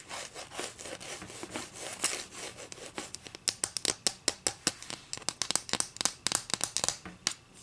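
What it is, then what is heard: Wooden ruler. Long acrylic nails scratch along the edge of a solid wooden ruler resting on a table, making a dry, bright rasping rub. After about three seconds, this gives way to a quick run of sharp, clicky taps with almost no ring and very little low end.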